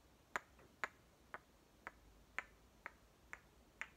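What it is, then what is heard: Hollow plastic toy watermelon halves. Two hollow green plastic halves of one small toy watermelon, one held in each hand, are knocked and clicked together. Eight short, dry plastic clicks, bright around 1 to 2 kHz, sound at roughly half-second intervals over a quiet background, each dying away almost instantly.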